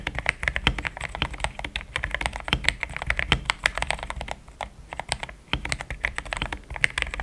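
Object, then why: Mechanical keyboard with plastic keycaps. A pink-framed compact mechanical keyboard with thick cream XDA plastic keycaps, a polycarbonate plate, linear switches and a hollow case is typed on with fingertips in steady taps. The result is a continuous stream of short, crisp clicks centered around 2 kHz with a bright top and a soft low thump, with a brief lull just past the five-second mark.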